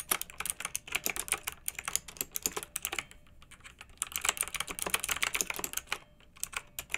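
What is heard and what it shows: Both hands with long nails type rapid key presses on a pink plastic retro mechanical keyboard with round keycaps, a backlit, hollow case. Dense, bright clicking clatters on, with a short lull near the middle before the fast typing resumes.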